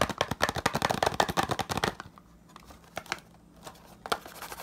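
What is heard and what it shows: Fingertips quickly tap and scratch the surface of a small, hollow green printed cardboard retail box with a barcode, held in one hand. For about two seconds there is a dense, rapid run of dry, papery taps and scratches. Then it drops to a quiet stretch with only a few scattered soft taps and one sharper tap near the end.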